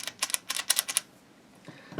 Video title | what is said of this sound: AR-15 M4 Full Monty disassembly & field stripping for cleaning. AR15 | se lo scuoti puoi sentire che c'è qualcosa lì